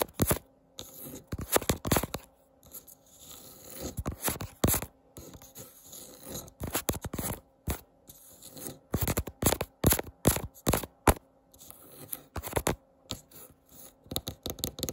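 Long painted nails scratch and tap the grainy surface of a solid, round, flat wooden candle-jar lid with an engraved logo, lying on a white counter. Irregular bursts of dry, crackly scratching alternate with quick, dull taps that stop short with no ring, with brief pauses in between.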